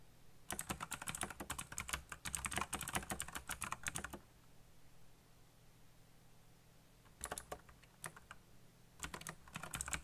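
Fast fingertip typing on a backlit black plastic mechanical keyboard produces a rapid run of bright, crisp clicks for about four seconds. After a quiet pause with only a faint low hum, two shorter bursts of keystrokes follow near the end.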